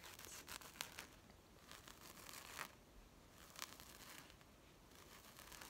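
Long nails scratch and tap across the woven surface of a small, flat, carpet-patterned fabric zip coin purse. The result is a quiet, bright, dry scratching rustle broken by sharp, short taps that fade almost instantly.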